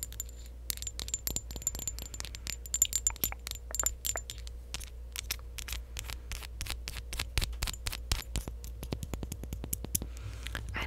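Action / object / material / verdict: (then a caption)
tap / glass perfume bottle / glass / none. Long acrylic nails tap and scratch a clear, partly full glass perfume bottle, making a rapid run of sharp, bright clicks and clinks with faint high ringing over a steady low hum. Each tap dies away almost instantly, with soft scraping between the hits.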